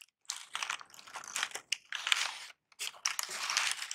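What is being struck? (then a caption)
Kraft packing paper. Painted fingernails and fingertips squeeze and crinkle crumpled brown kraft packing paper filling a cardboard box. Dry, bright crackling comes in dense bursts separated by short silent gaps, with almost no low end.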